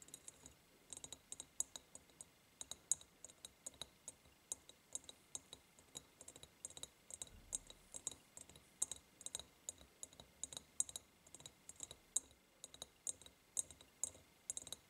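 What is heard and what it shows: Long painted nails tap on the sides of a large, empty, hollow ribbed glass jar, making dozens of quick, quiet clicks in an uneven rhythm. Each tap is a bright, high, glassy tick that dies away almost at once, with almost no low end.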